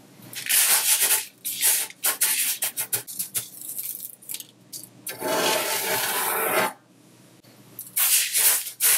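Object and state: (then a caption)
Colored sanding sugar being rubbed. A flat hand rubs a layer of mixed colored sanding sugar crystals spread on a white surface, then fingertips draw a circle and rake through it. Dry, bright granular scratching comes in short bursts, then a longer steady rub, a brief quiet pause, and more rubbing.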